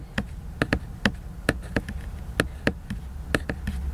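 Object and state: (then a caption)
Laminated cardboard hardcover book. Fingertips and nails tap the glossy cover of a large, solid, flat laminated cardboard hardcover book, giving 13 short, dry clicks at an uneven pace. Each tap is crisp and bright with almost no ring, over a steady low hum.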